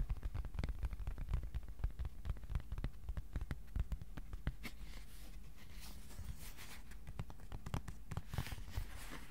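A thin, flat white cardboard sheet about A4 size is held in both hands and tapped with the fingertips on its face and edges. A steady series of short, dry, dull taps with a low thump sounds throughout. In the second half, brighter papery rustles and swishes mix in.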